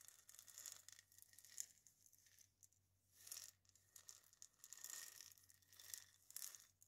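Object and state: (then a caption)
Dried gourd maraca scratched with nails. Long fingernails scratch and tap the hollow body of a single dried gourd maraca held in the hands. The result is quiet, bright, dry rasping and scraping in uneven bursts, with soft ticks and a faint steady low hum underneath.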